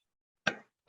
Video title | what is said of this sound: MELANCIA SEM SEMENTES E MAIS DOCE, A NOVA SENSAÇÃO DO VERÃO | O som de uma melancia tem que ser um som metálico, e não um som oco